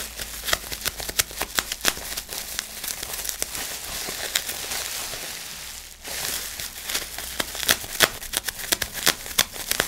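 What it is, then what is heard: Plastic bubble wrap. Fingers squeeze, crinkle and pop the bubbles on a large sheet of clear plastic bubble wrap held at chest height. Sharp, bright pops come in an irregular, rapid run over a steady crinkling hiss, which thins briefly to near silence partway through before the popping picks up again.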